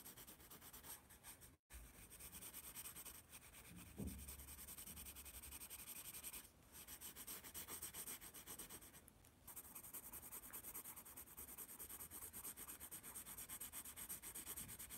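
A yellow wooden pencil shades letters on a spiral-bound paper sketchpad held upright, making a steady, dense graphite scratching with a bright, hissy texture. The rubbing runs almost continuously, broken by a near-silent gap around 1.6 seconds and brief dips near 6.5 and 9 seconds.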